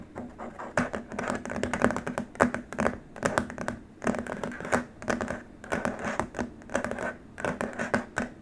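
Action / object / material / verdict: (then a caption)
scrape / rigid plastic wrist rest / plastic / none. Short nails on both hands scratch and tap across a long, flat, white rigid plastic keyboard wrist rest. Bursts of dry, rasping scratches and quick ticking taps come in uneven waves, with a faint steady low tone underneath and almost no ring after each stroke.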